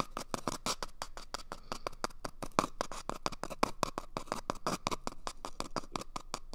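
Fingertips scratch and tap quickly on top of an empty, hollow cardboard toilet paper tube held at the right ear of the microphone. It makes a steady run of short, dry, crisp strokes with a hollow tone around 1.1 kHz and bright scratchy edges. Each stroke dies away almost at once.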